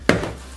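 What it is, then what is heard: Bag glove with hard, firm padding. A boxing bag glove is knocked once against a marble countertop, giving a single sharp, hard knock with a short decay, much like a hammer striking the stone. The padding doesn't give way, showing dense, firm padding.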